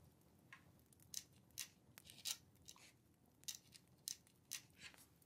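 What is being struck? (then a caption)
Paper sheet with a metal pen nib. A dip pen or quill nib scratches across a thin, flat paper letter sheet resting on a wooden table while writing. About ten short, bright scratching strokes stand out, each dying away almost at once, over a faint low hiss.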